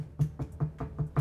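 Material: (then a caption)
Wood. Six knocks on a wooden plank kept in a studio, struck for luck, spaced about 0.2 seconds apart. Each knock is a short, dull, low thud centred near 150 Hz with almost no high content, and it dies away almost immediately.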